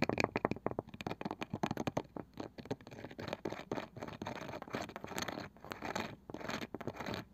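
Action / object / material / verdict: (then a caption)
scrape / small round wooden box with woven side / wood / none. Long nails scratch across the pale wooden lid and around the edge of a small, palm-sized round wooden box with a woven side. Quick, dry, separate scratching strokes come first, then merge into denser, steadier rasping scrapes. The sound sits mostly in the mid-range and stops dead after each stroke, with no ring.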